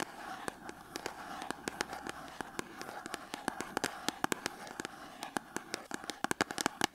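Long acrylic nails tap and scratch the front of a small cardboard soap box standing on a table, with a bar of soap inside. Dozens of sharp, dry, bright clicks come in irregular bursts, growing quicker and denser toward the end. Between them runs a steady papery scratching with a midrange hiss around 800 Hz, and each tap dies away almost instantly.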